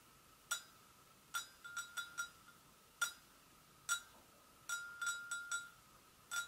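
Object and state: Porcelain gravy boat.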